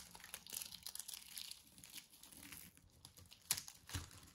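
A small metal blade shaves a hand-held round disc of coiled dry soap strips into curls. The result is a bright, crinkly scraping texture made of many quick, irregular crackles, with a sharper, louder crack near the end followed by a soft low thump.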